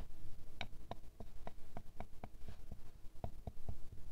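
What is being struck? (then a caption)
Glass perfume bottle tapped with a thin wooden stick. A square glass perfume bottle full of amber liquid, resting on fur and steadied by hand, is tapped with a thin wooden stick. The result is a series of soft, quick, dry ticks at an uneven pace, each dying away almost at once against a quiet low background.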